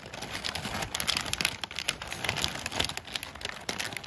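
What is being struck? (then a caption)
Crumpled kraft packing paper. A large sheet of crumpled brown kraft packing paper is crinkled with fingers and scratched with a thin black tweezer tool. The result is a dense, continuous stream of bright, dry crackles and sharp little clicks, with almost no low end and no ring after each snap.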